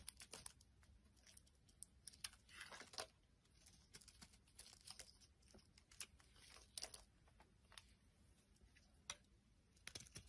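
A utility knife blade shaves thin strips from the surface of a solid rectangular tan-brown soap bar held in the palm. It makes quiet, bright, crackly scraping bursts with a crisp tearing, crinkling texture over a soft low background hum.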